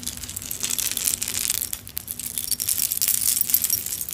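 A vintage metal-chain necklace strung with small clay food and kitchen charms is dangled and gathered into a palm with long nails. It is shaken, giving a continuous stream of bright, high clinks and chain rattles with very short ring and almost no low end.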